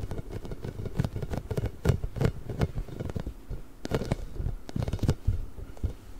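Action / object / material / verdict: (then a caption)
scrape / inflated rubber spiky ball / rubber / none. A large pink hollow inflated rubber spiky ball with nubs is scratched and rubbed with the nails of both hands close to the microphone. It makes a continuous soft, dull patter of scratches and brief taps, mostly low and muffled with little brightness, each touch dying away instantly.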